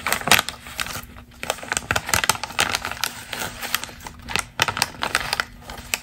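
A single thin, flat glossy magazine page from a camel-colored fashion spread, with other pages underneath, is crumpled and rustled by hands with long green nails. Dense, crisp crackles and crinkles come in quick irregular bursts, bright and airy with almost no low end. A faint steady low tone runs underneath.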